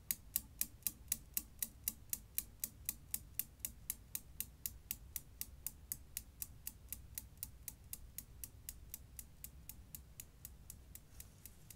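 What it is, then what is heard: Steel Newton's cradle balls clacking. A Newton's cradle's leftmost solid steel ball swings into the row of four, and the balls clack against each other in a steady, rapid rhythm of about four per second. Around 47 sharp, bright clicks with almost no ring sound over a low background rumble, gradually growing quieter as the swing dies down.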